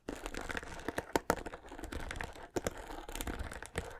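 Fingers strum and scratch the bristles of a white plastic paddle hairbrush held close to the mic. The result is a dense, dry crackling and scratching texture, broken by sharper, louder plucked snaps that die away almost instantly.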